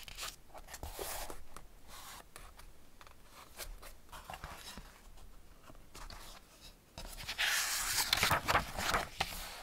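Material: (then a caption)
Paper. Hands turn the paper pages of an open Ladybird hardback picture book, *Man and His Car*, flipping them back and forth and rubbing them with their fingertips. Crisp, dry rustles and quick page flips alternate with softer fingertip scraping across the paper. In the last few seconds the rustling grows louder and brighter.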